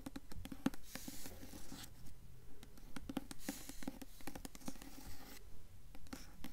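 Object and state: Hardcover book with paper dust jacket.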